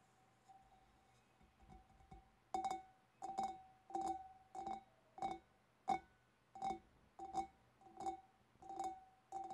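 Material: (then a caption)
Glass. Long dark-painted nails tap on the rim and curved sides of a large, empty, hollow clear glass fish bowl. A few faint taps give way to a steady run of bright clicks, about one and a half per second, each with a brief glassy ring centred near 750 Hz.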